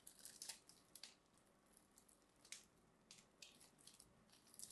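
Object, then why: Bar of soap. A small craft blade scores and scrapes the face of a solid cream bar of soap, held in a hand with short dark nails, cutting it into small cubes. The sound is quiet, with crisp, bright scratching bursts and crackles that come in short irregular strokes and stop almost at once.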